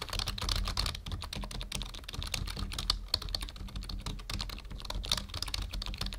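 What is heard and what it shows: Fingertips of both hands type rapidly on a full-size black plastic membrane keyboard resting on a wooden desk. A dense, continuous stream of soft, bright plastic key clicks and taps plays over a steady low hum, with a few sharper keystrokes standing out.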